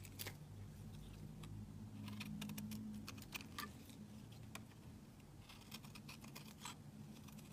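A small, solid olive-green olive-oil soap bar is held in the fingers while a metal utility-knife blade shaves strips off it, leaving a loose strip held in the middle. Quiet, crisp scraping ticks and bright, short clicks come in an uneven rhythm over a steady low hum.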